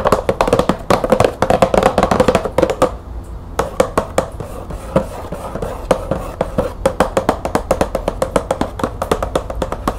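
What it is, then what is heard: Cardboard box with plastic window. Long nails tap quickly on the top of a green cardboard bulb box with a clear plastic window. Dry, clicky taps with a hollow midrange tone and almost no ring run in rapid bursts, pausing briefly around the three-second mark before continuing.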